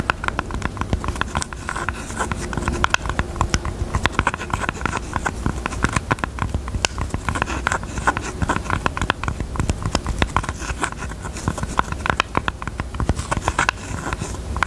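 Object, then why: Jewelry box. Fingertips tap quickly and continuously across a pink jewelry box. Each tap is a short, dry knock with a low thump and a slight hollow tone near 1.5 kHz, and the sound dies away almost at once. The tapping stays steady over a faint, constant low background.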